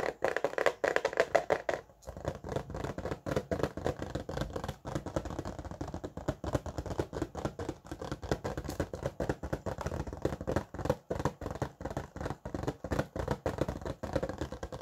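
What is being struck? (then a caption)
Plastic blister pack on cardboard backing. A small red and orange plastic blister pack on a cardboard backing is held in both hands while fingertips and nails tap quickly on the plastic and card. The result is a dense run of dry, short clicks and soft thuds, with a brief pause near the two-second mark.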